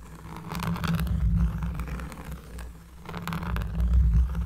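A cork surface is scratched up close, making a deep, bassy, rough scraping that swells in two waves. The sound is mostly a low rumble with faint brushy texture above it.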